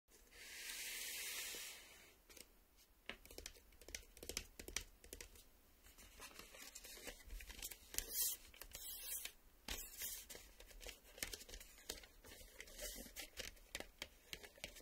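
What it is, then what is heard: Cardboard VHS tape sleeve. A small, printed cardboard Maxell VHS sleeve, a hollow box likely holding the cassette, is tapped and scratched with fingertips and short nails while being turned in the hands. It opens with a steady, bright scraping hiss, then gives way to many quick, dry taps and scratchy rasps. The sound is crisp and high with little low end.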